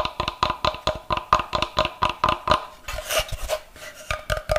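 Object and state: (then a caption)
Wooden block. A solid block of light, unfinished wood is held close and tapped with fingernails in a quick, uneven series of sharp, dry clicks with a brief woody tone around 1 kHz. Just before the three-second mark the taps give way to a brighter scratching rub of nails across the wood, then lighter taps continue to the end.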